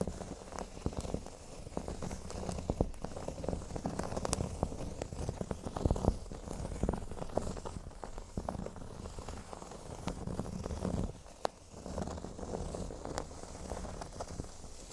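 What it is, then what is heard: Cork board being scratched. Fingernails scratch across a large, flat, solid cork board shaped like a speech bubble, sometimes working near its top edge. A steady, dense, low rustling scrape runs throughout, with many short crackling ticks on top. Near 11.5 seconds the scratching briefly dips quieter.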